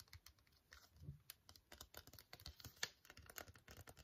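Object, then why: Foil sheet mask sachet. A full, flat, sealed silver-white No7 foil sheet mask sachet, held in both hands, is tapped with long fingernails. About two dozen quick, quiet taps sound crisp and clicky, with a bright foil crinkle and a light low thump under some of them. Each tap dies away almost instantly.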